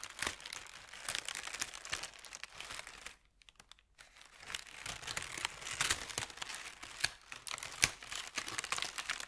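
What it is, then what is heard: Thin paper sheet. A crumpled thin white paper sheet is unfolded and stretched out by hand over a felt mat, giving dense, bright crinkling and crackling with sharp snaps. The rustling briefly drops to near silence about a third of the way through, then resumes just as busy until the end.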